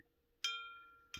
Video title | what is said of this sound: rings like a bell 🔔✨ | if I put it on my knee, it makes a really nice one. Bing! So it rings like a bell now.